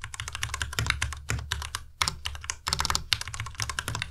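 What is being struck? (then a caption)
Plastic mechanical keyboard. A white compact Ducky Miya Pro plastic mechanical keyboard with plastic keycaps is typed on continuously with the fingertips of both hands. The result is a fast, uneven stream of bright, clicky key strikes with a low thocking undertone and very short decay.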